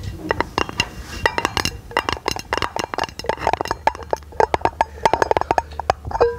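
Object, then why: Round aluminum lid. Long nails tap rapidly on a hollow, round brushed aluminum lid held in both hands, producing dozens of quick, bright metallic clinks. Each tap is short and dry, with a light hollow ring near 900 Hz that fades almost at once.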